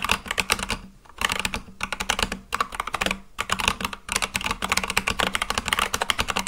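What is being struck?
Mechanical keyboard with plastic keycaps.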